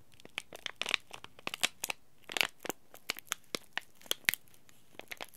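A small green laminated plastic-foil tea bag packet is crushed and crinkled between the fingers, then rubbed with the thumb. The result is a quick, irregular run of sharp, bright crackles and crinkles with very little low end and almost no ring, separated by short quiet gaps.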